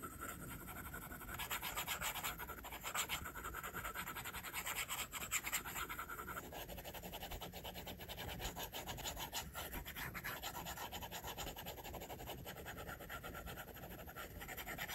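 A plastic stylus tip draws on the glass screen of an iPad, making quick hair strokes. The result is a steady, quiet stream of dense, bright rubbing and scratching strokes that run together without clear breaks.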